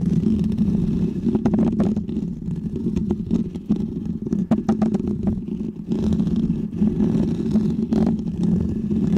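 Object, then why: Foam microphone windscreen. Short fingernails and fingertips of both hands scratch a small, round, white textured foam windscreen on a microphone. The result is a steady, dense, muffled rumbling scrape, heaviest in the low range, with brief brighter crackles scattered throughout. The sound eases slightly in the middle before returning to full strength.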